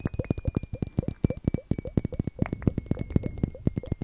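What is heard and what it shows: A small hollow glass liquid-timer hourglass filled with purple glitter liquid is held upright in front of the mic and tapped with the fingernails of both hands. The result is a rapid, irregular run of short, dry clicks with a hollow low thump beneath each, a faint steady high tone running underneath throughout.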